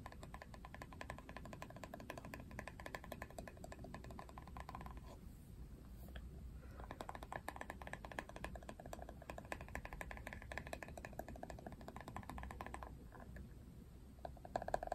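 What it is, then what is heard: Plastic hairbrush back. Fingernails scratch and tap the hard plastic back of a Barbie paddle hairbrush, which has a ridged printed surface. The result is a quiet, steady stream of dense, dry clicks and rasping scrapes, with brief lulls in the scratching near 5–7 seconds and again around 13 seconds, over a soft low background hum.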